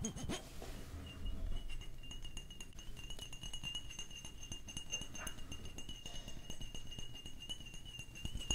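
Fingertips and nails tap and rub along the flat sides of a rectangular, opaque white glass Gucci Bloom perfume bottle, about hand size and solid-walled. Dense, rapid clicks and soft glassy clinks run continuously over a low, muffled rumble, with a faint steady high tone throughout.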